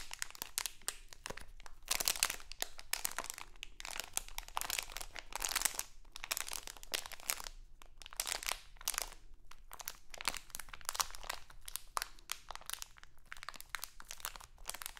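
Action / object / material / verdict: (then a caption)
scrape / thin plastic candy bag / plastic / none. A small printed crinkly plastic Halloween candy bag is held in both hands and crinkled and scratched with long acrylic nails. Dense, bright crackling comes in bursts with brief pauses and quick, dry snaps. Under it runs a faint low hum.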